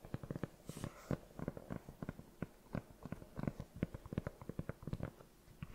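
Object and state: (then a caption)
Rubber sneaker sole being tapped. Long nails and fingertips tap and scratch the solid, treaded rubber sole of a cream sneaker held up in the hand. Soft, dull clicks and short scrapes fall in an irregular rhythm, low and muffled with little bright edge and almost no ring. A faint airy hiss rises briefly near the start.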